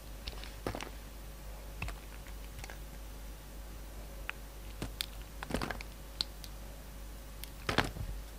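A solid pink soap bar held in the hand is carved into a shape with a utility knife blade, shaving and scraping off bits. Short, crisp scraping clicks with bright edges come in scattered bursts, the densest near the middle and end. A quiet, steady low hum sits underneath.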